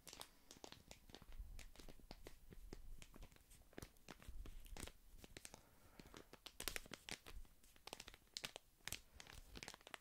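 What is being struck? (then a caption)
Small paper tea sachet. A small, flat, printed paper tea sachet is held in one hand close to the microphone and crinkled and rubbed between the fingers. It makes dense, crisp crackles and sharp, bright snaps that spread from low to high, over a soft, low rumble from the handling. The rustling is continuous, with short bursts that die away almost instantly.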